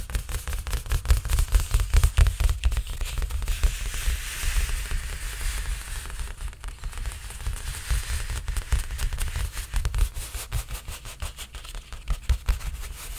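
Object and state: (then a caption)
Painted stretched canvas. Spread fingertips tap and scratch the taut surface of a large painted canvas stretched on a frame. Quick, irregular, dull thumps, mostly deep and low, run throughout, with a brighter, hissy scratching texture swelling in the middle of the clip.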